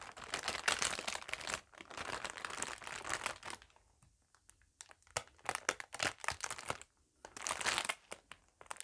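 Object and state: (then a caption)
Clear plastic bag crinkled. A thin, empty, flexible clear plastic packaging bag is held in both hands and crinkled and rubbed with fingertips and long nails. Bursts of bright, crackly crinkling alternate with quieter pauses broken by sharp, brief crackles.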